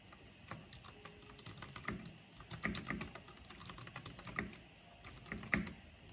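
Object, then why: Mechanical keyboard with plastic keycaps. Fingertips of both hands with long nails type on a backlit mechanical keyboard with black plastic keycaps. The result is a steady, irregular stream of short, crisp clicks and clacks with a bright top and a soft low thock beneath. A few louder keystrokes stand out, each dying away almost instantly.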